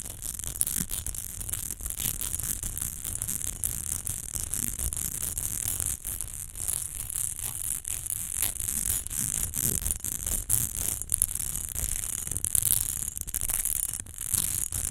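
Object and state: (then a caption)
Glass perfume bottle scratched. Long nails quickly scratch the ridged sides of a rectangular textured glass rose perfume bottle, which stands upright and is partly filled. A dense, continuous, bright, hissy scratching runs throughout, with rapid uneven strokes over a low rumble and no ringing tone.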